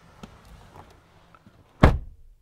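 A 2022 GMC Sierra Denali Ultimate pickup truck door is closed from the inside. A faint tap is followed by a single heavy, low-pitched slam that cuts off quickly, and the closing sounds solid.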